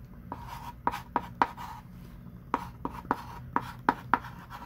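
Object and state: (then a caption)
Chalk writing on a chalkboard. A ringed hand writes and underlines with a thick pink chalk stick on a small wooden-framed chalkboard lying flat. Ten short, scratchy chalk strokes tap and squeak with a tone around 1 kHz and a bright hiss, spaced unevenly over a low, steady background hum.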